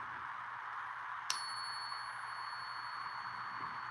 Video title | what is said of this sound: J & J’s Currency is live! | If something is silver, it will have that ring when you strike it.